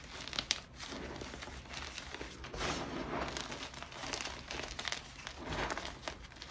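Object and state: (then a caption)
Gym chalk chunks being crushed. Bare fingertips with red-painted nails squeeze and crush a pile of solid, crumbly white gym chalk chunks (magnesium carbonate) on a grey surface into powder. The result is a steady, dense crunching and crinkling, bright and gritty, with a sharp crack near the start and swells of louder crumbling throughout.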